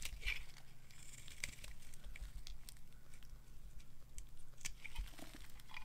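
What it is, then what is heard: Dry bar soap being scraped into flakes. A hand-sized, solid white dry bar soap held in the palm is scraped with a metal knife into long flakes. Dry, crisp scraping and crackling bursts with bright high edges repeat over a steady low hum.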